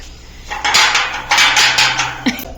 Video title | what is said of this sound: ఇయ్యాల కొత్తింటి🏠 పనులు ఏమైనయంటే? గణేషుని దేవుని టైల్? House construction telugu | నాకైతే గంట సౌండ్ ఏం బెల్లి సౌండ్ ఏం లేదు టంగ్ టంగ్ సౌండ్ వస్తుంది